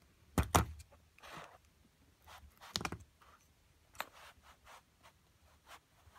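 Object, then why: Plaster block and metal chisel. A metal chisel scrapes the solid plaster of an excavation block beside a purple crystal. Two sharp, low-thudding knocks come first, followed by a series of short scraping strokes and a few lighter taps in a quiet, close setting.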